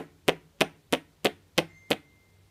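A high-quality, brand-name 18650 lithium-ion cell from a Milwaukee drill battery pack is tapped six times at an even pace, compared against cheap cells. Each tap gives a short, sharp, dense knock with almost no ring, and the cell sounds solid and dense, as expected of a good cell.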